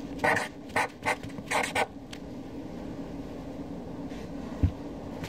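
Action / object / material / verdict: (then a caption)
scrape / felt-tip marker on a paper sheet / paper / none. A hand with long dark nails writes names on a flat white paper sheet lying on a dark desk with a black Sharpie felt-tip marker. The felt tip gives a quick series of short, bright scratching and rubbing strokes over about two seconds, then a quieter stretch with a single dull low thump near the end.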